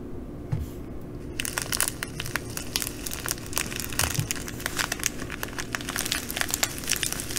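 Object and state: Plastic bag of glass bugle beads.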